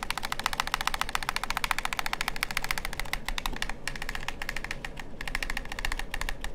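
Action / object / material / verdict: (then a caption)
tap / plastic game controller / plastic / none. Fingertips and nails rapidly tap and click the buttons and shell of a hollow, black plastic PlayStation-style gamepad held near the ear. The result is a fast, irregular stream of sharp, dry plastic clicks with a bright edge, centered around 1 kHz, over a steady low rumble.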